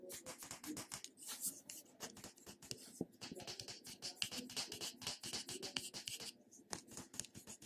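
A small purple plastic cosmetic jar with a purple lid is held in the hand while fingernails tap and scratch the top and sides of the lid. The result is a quiet, fast run of bright, crisp clicks mixed with scratchy rubbing, mostly high in pitch with very little low end and almost no ring after each tap.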